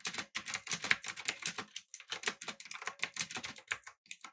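Fingertips type rapidly on a backlit typewriter-style mechanical keyboard with blue switches, an aluminum body and round plastic keycaps. A fast run of sharp, bright clicky keystrokes dies away almost instantly, broken by a couple of brief pauses.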